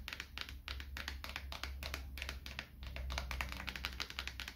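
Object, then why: Thin wooden coaster. A small, thin, light wooden coaster, held edge-on in the hand, is tapped and scratched with fingertips and nails in a rapid, continuous run of dry, crisp clicks and scrapes, done to help reduce stress. A steady low hum sits underneath throughout.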